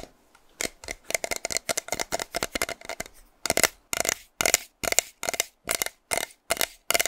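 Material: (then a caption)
Plastic. A hollow pink plastic spray bottle with a teal cap, its fill not visible, is held in the hand and tapped and scratched with fingernails. About 25 dry, bright clicks and scrapes are heard: quick, closely spaced taps first, then slower, longer scratching strokes with a papery high hiss. Each one cuts off almost instantly with no ring.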